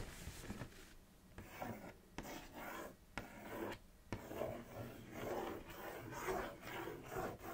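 Long acrylic nails trace and scratch over the front print of a large, flat Kellogg's Froot Loops cardboard box lying on a knit blanket. Soft, quiet rasping and rubbing strokes come in uneven waves, broken by a few sharp little clicks.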